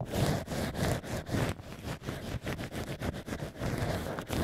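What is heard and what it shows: Two black ear picks scratch inside the drilled holes of two cork wine-stopper ears at the same time. The result is a steady, low, rustling scrape with uneven, repeated strokes that swell and dip throughout.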